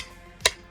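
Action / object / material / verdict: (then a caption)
tap / ceramic cane tip on ceramic tile / ceramic / none. A white ceramic hook-on cane tip with a black rubber ring and a ball-shaped bottom, made by Ambutech and used for two-point touch, strikes a ceramic tile sheet once. The tap is a sharp, bright click with a very short ring. It is loud enough that people in office buildings can hear the cane user coming.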